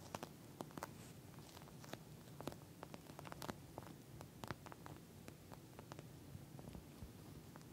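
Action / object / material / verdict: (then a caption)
tap / gel bead eye mask with plastic cover / plastic / none. Long nails scratch, tap and lightly squish a pink gel bead eye mask with a plastic cover. The result is a quiet stream of sharp, dry clicks and crinkly scratches over a soft low rustle, with brief bright ticks scattered irregularly throughout.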